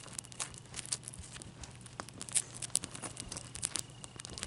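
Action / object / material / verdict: scrape / ice cube / ice / none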